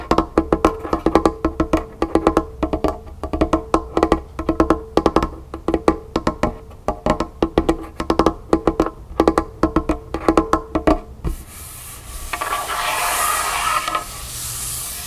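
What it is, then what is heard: Wooden table. Long painted nails tap fast on a large, solid, dark wooden tabletop, making rapid clustered woody knocks with a hollow, mid-pitched tone and very short ring. Around eleven seconds the tapping stops and gives way to a quieter, steady, bright rustling wash that swells and then fades toward the end.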